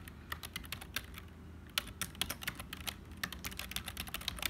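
Fingertips of both hands type on a black HP plastic membrane keyboard with hollow keys, producing a fast, uneven run of short, bright clicks. Each click stops almost at once, peaking around 3 kHz, over a faint low rumble.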